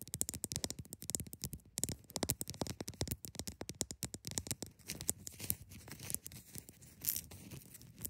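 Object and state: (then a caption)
Ice block scratched. Long nails scratch the top and sides of a large, solid block of frosty, partly clear ice resting on a fabric surface. Rapid, dry, crisp scratching strokes run close together with a bright, gritty edge. The scratching turns softer and sparser later, broken by a few brief, brighter rasps.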